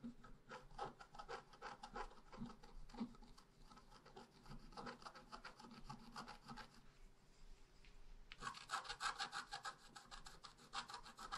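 A wooden stylus scratches the roots at the bottom of a tree design into a flat black-coated scratch art paper sheet. Quick, dry, rasping strokes repeat in an uneven rhythm. Near the end they turn brighter and louder.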